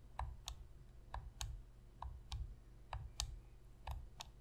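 Long pink nail tips tap the face buttons and hollow plastic shell of a black PlayStation controller lying on a white surface. Ten sharp, quick-fading clicks come in loose pairs, each with a bright edge over a soft low thump.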